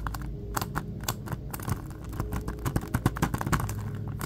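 Fingertips and nails grip, tap and scratch a blue plastic Ghostbusters Blu-ray case held in both hands. Irregular, dry, short clicks and scratchy crinkling rubs sound close up over a steady low hum, with sharper taps clustering toward the end.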